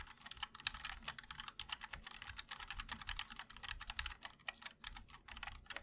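Fingertips of both hands type continuously on a MOD-L Linear 60% mechanical keyboard with a black aluminum case and white and black ABS keycaps. A rapid, steady stream of short, bright clacks sounds, each keystroke dying away almost instantly with little low end.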